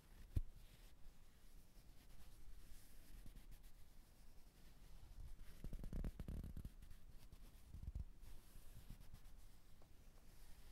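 A fingertip rubs and lightly scratches the fabric muzzle and black felt nose of a soft-filled white stuffed teddy bear with a plaid ribbon. The result is a very quiet, low, muffled brushing and scratching with a few soft thumps, one near the start, and a denser stretch of rubbing in the middle.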